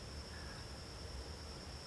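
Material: Nothing is struck.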